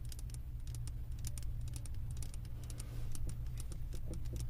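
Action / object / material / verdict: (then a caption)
tap / glass candle jar filled with wax / glass / none. Long nails tap the glass bottom of a glass candle jar full of wax, producing a quick, irregular run of short, bright clicks. The taps ring only briefly and sit over a steady low hum throughout.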